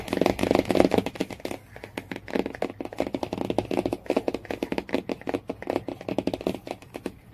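Long-nailed fingers rapidly tap and scratch the printed cardboard cover of a Jungle Book hardcover lying flat, working near the spine. The result is a dense run of short, dry taps with almost no ring, centered around 330 Hz, mixed with a light scratchy rasp and little low end.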